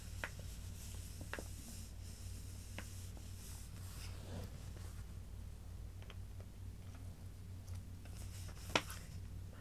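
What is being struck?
Paper magazine pages.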